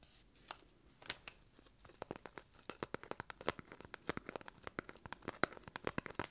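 A small brown corrugated cardboard rectangle, held in the hands, is scratched and rubbed with fingernails. The result is a quick, uneven series of short, dry, crisp scratches and ticks over a faint rustling bed. The sound is quiet and close, with each stroke cut off almost at once.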